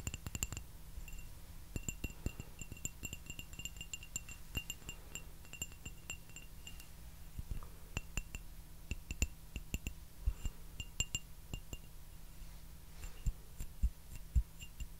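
Fingernails tap a small, hollow, empty white floral porcelain teacup, making many quick, sharp clinks in irregular bursts. Each tap rings briefly with a bright, high glassy tone over a steady low hum.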